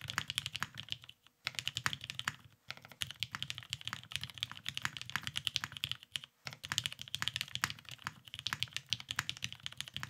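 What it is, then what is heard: Mechanical keyboard with plastic keycaps. A beige, Cerakoted Salamander tenkeyless mechanical keyboard with lubed vintage black switches and plastic keycaps sits on a desk mat, typed on continuously with the fingertips of both hands. The rapid, short, bright clacks carry a soft low thud underneath and stop briefly three times before the typing resumes.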